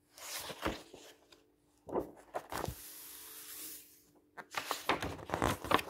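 Fingertips rub and slide flat across a black-and-white printed paper page of an open paperback book lying on a wooden table. Soft, papery swishes and brushing strokes come in irregular bursts, with one longer, steady hiss of sliding in the middle, over a faint steady low hum.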